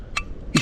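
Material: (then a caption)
Plastic. A red, vase-like fragment found on a frozen riverbank, which looks like old cranberry glass, is tapped to check whether it rings like glass. Two short, dull taps are heard with almost no ring. It is plastic, not glass.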